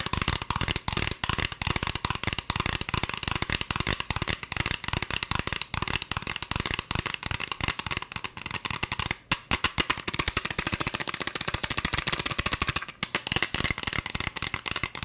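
Long fingernails tap quickly on a green plastic spray bottle with a white trigger nozzle, hollow and partly filled with liquid. A rapid, continuous stream of sharp, bright clicks and ticks carries on throughout, each dying almost instantly. There are brief pauses near 9 and 13 seconds.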